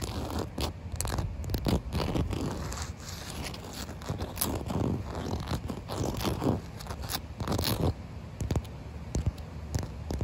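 Fingertips and long white nails tap and scratch a large, solid concrete slab covered with thin puddles of water. Soft, dense scraping and scratching runs throughout, broken by frequent quick taps with a dull, low-heavy tone. Brief wet, splashy bursts appear now and then.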